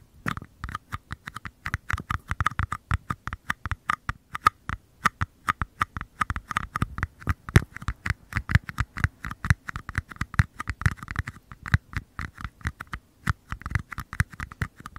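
Fingertips tap and scratch the flat bottoms of two identical small, empty, hollow white paper cups, each held upside down in front of its own microphone capsule. A rapid, steady run of short, dry taps gives soft low thumps with a hollow papery knock in the middle range and faint scratchy rustle between them. Each tap dies away almost instantly.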